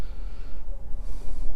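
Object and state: Nothing is struck.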